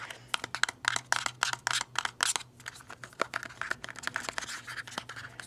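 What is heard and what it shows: A small, hollow, black printed cardboard cube box for a Disco Kitten mask is held and turned in the fingers while fingertips scratch and rub its surfaces. The result is a quick, irregular run of dry, bright scratching bursts with a papery rasp and no ring, over a faint steady low hum.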